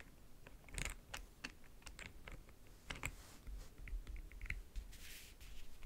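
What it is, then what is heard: Leatherette-covered backgammon case. Fingernails tap along the front edge near the latch and across the lid of a closed, hollow backgammon case covered in map-print faux leather. The taps are soft and quick, about eighteen of them, each with a short bright click over a low hollow thump, and each dies away almost at once.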